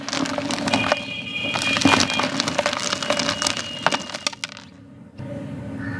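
Bare hands squeeze and crumble palm-sized, solid, dry-ish molded clumps of yellow gritty sand over a blue tub, letting the grains pour onto a sand pile below. The result is a dense, bright, gritty crackle of crunching and trickling grains. It fades briefly near the end, then resumes as a softer steady patter.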